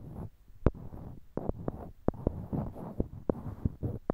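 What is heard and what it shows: Small, solid, light-colored wooden cubes are held in pairs in each hand near a binaural microphone, with fingertips clicking and knocking one block against another. The result is a run of short, dry, sharp knocks with almost no ring, spaced over a soft, low rumble of handling and rubbing.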